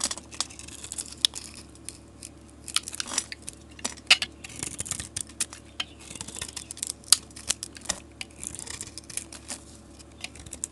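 A solid green bar of soap with a marbled paint coating is held in the hand while a blade scrapes it and the painted skin is peeled off by hand. Dry, bright scraping and crinkly peeling come through as a steady run of short, crisp ticks and rasps with almost no low end or ring.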